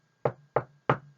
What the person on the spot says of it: 이 책상을 두드리는 소리는 탁탁탁이구나